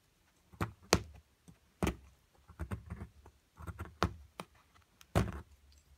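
A metal chisel chips flakes of plaster off a large solid plaster block surrounding a purple crystal. The result is a series of short, sharp taps and scrapes, each with a dull low thud and a bright click that die away almost instantly, separated by quiet pauses.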